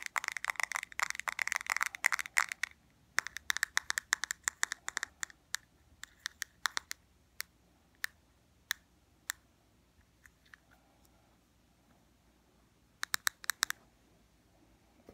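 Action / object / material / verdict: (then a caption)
tap / small hard plastic eyeshadow palette / hard plastic / none. A small, clear, hard plastic eyeshadow palette with four dark shadows is held in the hand and tapped and scratched with fingernails. Dense bursts of bright, dry clicks and scratches fill the first five seconds, then thin out into scattered single taps. After a quiet stretch, a short cluster of taps comes near the end.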